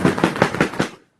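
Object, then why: Flat panel fabric hunting blind. A flat panel fabric hunting blind is grabbed by one side and shaken, producing five quick flapping bursts that mimic a turkey's wings as it flies down from the roost. The sound is about one second of rapid, papery fluttering that fades out at the end.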